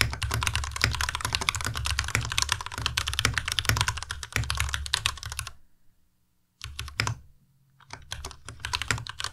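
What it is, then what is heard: Plastic mechanical keyboard being typed on. A white Ducky Miya Pro tenkeyless mechanical keyboard with plastic keycaps and RGB backlight is typed on with the fingertips of both hands. The rapid, steady clatter of bright key clicks over low thocks stops briefly near the middle, then comes back in a short burst. After a second pause, the typing resumes.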